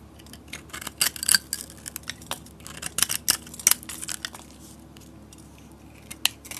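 A metal utility blade shaves thick curls off the edge of a solid soap bar with a yellow painted and glitter coating. Crisp, bright scraping and crackling strokes come in uneven bursts, with sharper peaks around the middle and one near the end, over a quiet low hum.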